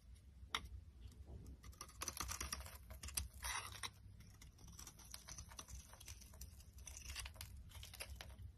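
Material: Soap.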